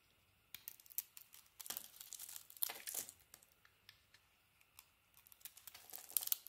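A small metal blade scrapes and shaves a hand-held solid bar of white soap with a pink, gold and teal painted coating, flaking the coating off. The clip is quiet, made of short, crisp, crinkly scraping strokes that are almost entirely bright and high, with bursts of denser shaving near the middle and end.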